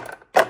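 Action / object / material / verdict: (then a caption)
tap / coffee machine front panel coating / plastic / none. Tapping on the plastic front coating panel of a Nespresso Creatista Pro coffee machine gives short, hollow, plasticky clicks with a mid-pitched knock and almost no ring. The coating sounds cheap and is prone to scratching when cleaned.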